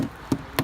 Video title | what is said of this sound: WDO inspection | It's all rotted out. There's nothing left.